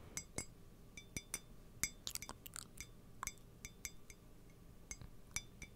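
Fingernails tap and scratch the outside and rim of a hollow, apparently empty white ceramic coffee mug with a printed illustration, held close to the microphone. The result is a series of bright, sharp clinks with brief high ringing tones. A few quick scratchy strokes are heard midway through.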